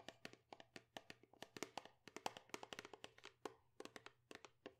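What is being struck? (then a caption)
Plastic shampoo bottle. A medium-size white plastic Pantene shampoo bottle, hollow and appearing to hold shampoo, is held in both hands and tapped and handled with long acrylic nails. About 29 quick, dry, clicky taps come in an uneven rhythm, each dying away almost at once, with a bright edge and a faint steady low hum underneath.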